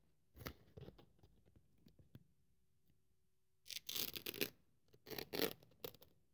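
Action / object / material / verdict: scrape / thin polyethylene foam sheet / polyethylene foam / none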